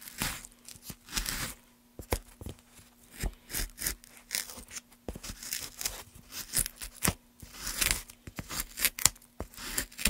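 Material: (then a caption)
Softwood. A gouge carves a solid pale softwood board in short strokes, scraping and cutting away small shavings. Each stroke gives a brief, bright, dry rasp or crisp snap with almost no ring, spaced irregularly over the clip. A faint, steady low hum runs underneath.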